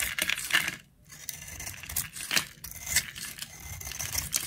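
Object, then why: Bar of soap scraped with a metal blade. A flat metal blade scrapes and carves powdery layers off the exposed pink face of a solid, palm-sized round bar of dry pink soap with a yellow patterned coating, held in one hand. A series of crisp, bright, scratchy scraping strokes is heard, with almost no low end, quick dry decay and a brief pause near the one-second mark.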